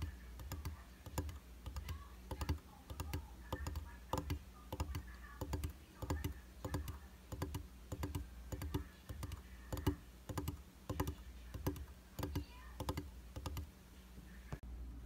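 Fingertips and short nails tap across the flat, solid glass surface of a round vanity mirror in a white frame. The taps come in quick, irregular bursts of dry, short clicks with bright edges that die away almost at once, over a steady low hum.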